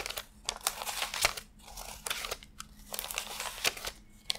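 Fingertips lift, flick and rub a fanned stack of thin cotton-paper $100 bills while counting them by hand. Bright, crisp crinkling and papery snaps come in quick bursts with short quiet gaps between, with almost no low end and no ring after each flick.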